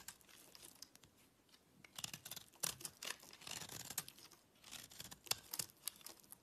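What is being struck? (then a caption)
Soap bar. A small knife with a gold-yellow handle scrapes and cuts a solid green oval soap bar held in the fingers, scattering crumbs onto a dark surface. The sound is a quiet, dry, bright scraping and crisp crackling with many sharp little snaps and no ring.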